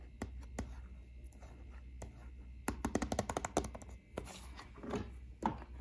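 Fingertips and short nails tap and scratch a small, flat, hollow plastic Nintendo Switch game case (Splatoon 2) lying on a wooden shelf. Scattered light clicks build into a quick burst of dry, hollow taps, followed by soft scratching rustles. The taps stop dead with no ring, over a steady low hum.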